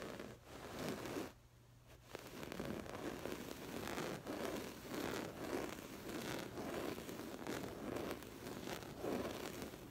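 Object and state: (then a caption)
Woven fabric cushion. Long acrylic nails on both hands rapidly scratch a soft stuffed cushion covered in textured woven floral fabric. The result is a dense, scratchy rustling in repeated bursts, with a brief quieter pause early on. It is mostly low-mid in tone with some bright crackly edges.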